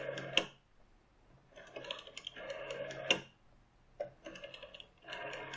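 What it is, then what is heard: Plastic rotary telephone dial. A green plastic rotary telephone with a clear plastic dial and a metal finger stop has fingertips with short painted nails resting on, tapping and rotating its dial. Bursts of bright mechanical clicking and whirring come in uneven runs, separated by short quiet gaps and marked by a few sharper taps.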